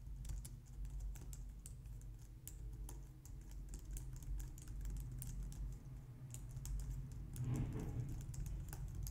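Both hands type on a white plastic low-profile wireless keyboard using long nails and fingertips. Quick, light, bright clicks and taps patter steadily over a constant low hum, growing briefly busier near the end.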